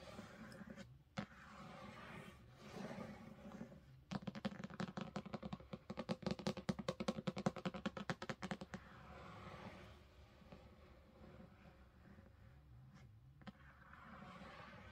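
Long pink fingernails on both hands tap rapidly on the top edge and cover of a large, solid illustrated hardcover of A Game of Thrones with a paper dust jacket, lying on a carpet. A dense burst of sharp, dry clicks runs from about 4 to 9 seconds, framed by softer, quieter scratching and rustling before and after.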